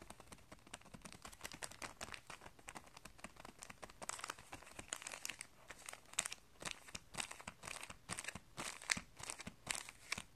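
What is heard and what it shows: A hand presses, rubs and crinkles a clear plastic packet of guitar strings, holding a paper insert and coiled metal strings, as it rests on carpet. The result is a steady stream of quiet, bright, dry crinkling and crackling with many quick, overlapping rustles and little low end.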